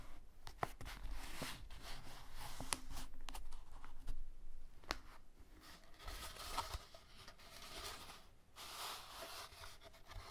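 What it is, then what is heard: Cardboard tube. Fingertips with manicured nails press and rub a long, flattened, hollow, empty brown cardboard paper towel tube with tape bands flat on a beaded mat, then lift and handle it. Soft rubbing and light scratching on the cardboard are heard, with a few sharp ticks and taps along the way.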